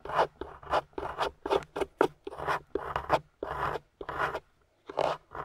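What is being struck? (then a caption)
Plaster block scraped with a metal pick. A metal pick tool with a wooden handle scrapes and chips at a solid grey plaster excavation block, with crumbled plaster debris around it, while long-nailed fingers hold the block steady. A quick run of short, gritty scraping strokes, each with a dry midrange crunch and brief hiss, is separated by small pauses.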